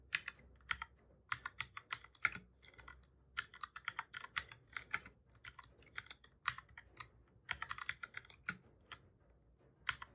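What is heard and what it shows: Fingertips of both hands type on a black full-size plastic computer keyboard, pressing keys over and over. Quick, dry, bright clicks come in uneven bursts with short pauses between them, each tap dying away almost at once at a fairly low level.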